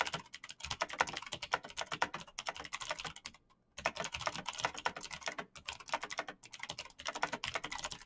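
A black plastic mechanical gaming keyboard with clicky green switches, backlit keys and a hollow case is typed on quickly by fingertips of hands in fingerless knit gloves. Dense, bright clicking taps run in fast bursts, with a brief pause near the middle and short gaps near the end.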